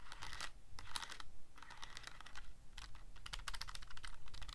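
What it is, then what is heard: Plastic calculator buttons. Fingertips press and click the rubbery plastic keys of a handheld Casio scientific calculator with a black plastic body. Quick bursts of short, bright, dry clicks come in flurries with brief pauses, over a faint low background rumble.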